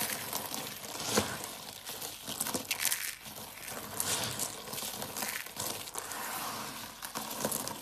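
A pile of multicolored dry soap flakes is rubbed, crushed and sifted between fingers and palms. It makes a steady, bright, dry crinkling crunch with brief louder crackles, thin in the low end.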